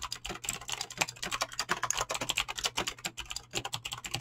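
Fingertips with short nails type fast on a full-size mechanical keyboard with Razer clicky green switches and dyed PBT plastic keycaps, resting on a desk. A rapid, uneven stream of sharp, bright clicks comes from continuous key presses, each dying away almost instantly over a faint low hum.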